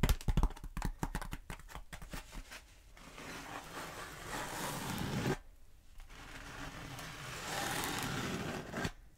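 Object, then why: Bead foam roller. Long acrylic nails tap quickly on the surface of a long black bead foam roller held upright, making a run of dry, short taps. The taps give way to steady, broad scratching across the foam, which pauses briefly and then resumes before ending with a final tap.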